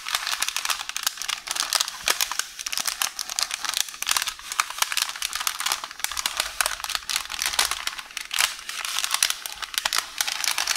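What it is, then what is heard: Roll of baking paper. One hand with long orange nails grips, scratches and crinkles a roll of beige parchment baking paper on the counter. The result is a continuous bright, papery crackle of dense, sharp crinkles and rustles with almost no low end, rising and falling in short bursts throughout.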